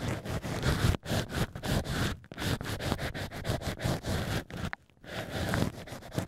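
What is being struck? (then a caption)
Natural cork wine stoppers scraped with thin sticks. Thin black sticks, guided by fingertips, are pushed into the central holes of two small hollowed-out natural cork wine stoppers and scraped and rubbed against the cork interior. The stoppers are pressed side by side into a plush ear cover on a binaural microphone. Close, dense scratching and scraping rasps continue in rhythmic bursts with a heavy low rumble, broken only by brief silent pauses.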